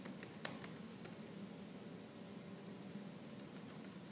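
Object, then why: Plastic laptop keyboard. Fingertips with purple nails type on a laptop keyboard with black plastic keys, giving sharp, bright clicks and taps over a low, steady hum. A slight fan hiss runs underneath throughout.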